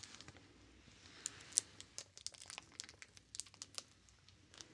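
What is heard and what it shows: A small, solid, translucent soap bar wrapped in clear, crinkly plastic film is held in one hand while fingertips pinch and rub the wrapper. This produces a quiet, irregular run of sharp, bright crackles and snaps over a soft hiss. Each crinkle dies away almost instantly, with nearly no low end.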